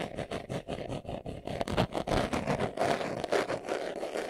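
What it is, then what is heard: Leather glasses case being scratched. Fingernails scratch quickly across the surface of a small, hollow, brown pebbled leather glasses case held in the hands. The result is a fast, uneven run of rough, raspy scratching strokes, with the energy concentrated low and mid and occasional brighter hissy bursts.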